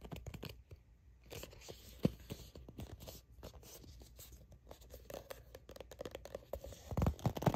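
A soft plastic sunscreen squeeze tube with a purple cap, which appears filled, is gripped and scratched with long nails. Quick, dry scratches and light crinkles run close together over a low, muffled body. The handling grows louder and heavier near the end.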